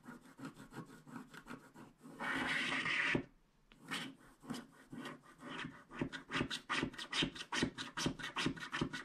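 A wooden stylus scratches the coating off a flat black-coated paper scratch card held in one hand, leaving black flakes. Short dry scraping strokes repeat at a brisk, uneven pace, broken by one longer continuous rub and a brief pause before quicker strokes resume.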